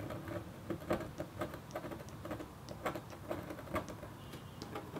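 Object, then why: Black-coated copper foil scratch board scraped with a metal stylus. A metal stylus in a red holder makes rapid, short scratches across a flat, black-coated copper foil sheet while the other hand rests on paper. The result is a quiet, dry run of brief scratching strokes, each with a faint bright edge over a low, soft rustle.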